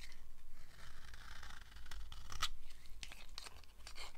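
A red-handled knife carves a thin, solid yellow oval slab of dry soap, giving crisp, bright scraping and crumbly tearing strokes over a faint low rumble. A sharper crackling cut stands out midway, and the blade is briefly lifted away from the soap between strokes.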